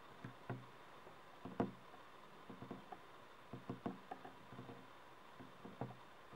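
A small, hollow, color-changing LED night light shaped like a mushroom, with a frosted translucent plastic shell, is held between both hands while fingertips and nails tap its sides. Light, dull plastic taps come in uneven clusters and die away quickly against a faint steady hum.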